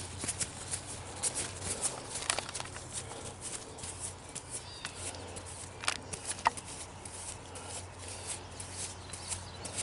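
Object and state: Green plant leaf being crinkled.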